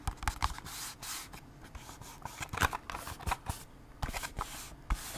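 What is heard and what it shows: A small, hollow, printed cardboard Band-Aid box is held in the hands and scratched and tapped with long acrylic nails. Quick, sharp, dry taps with bright clicky edges alternate with softer, hissing scratches across the surface. Each hit dies away almost at once.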